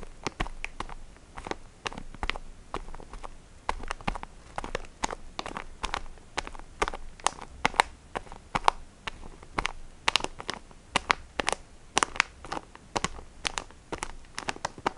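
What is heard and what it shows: Fingers with painted nails squeeze and scratch a hand-sized, filled sponge pack in printed plastic wrapping. The result is a steady run of short, dry crinkling clicks and taps that cut off instantly, with bright crackle across the high range and a faint low rumble underneath.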